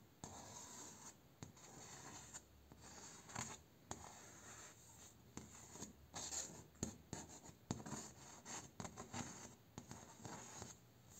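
Fingertips and short nails rub, scratch and tap across the vertical slats and node bumps of a large bamboo slat door. The result is a steady dry, bright scratching texture broken by scattered short, sharp taps that die away almost instantly.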